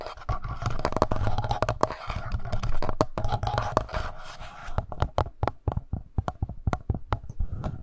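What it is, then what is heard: Plastic handheld audio recorder. Fingertips and short nails scratch and tap around the two metal mic capsules and upper body of a hollow black plastic Tascam handheld recorder. Dense, crackly scratching fills the first half, then gives way to a run of separate, dry taps. Every touch comes through as a heavy, close low thump.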